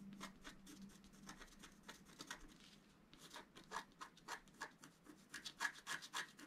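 The tip of a wooden stylus scratches a flat scratch art card, a paper sheet with a black coating, in quick, uneven strokes. Each stroke gives a short, dry, bright rasp, about three per second, over a faint low hum at the start. The scratches grow louder and sharper toward the end.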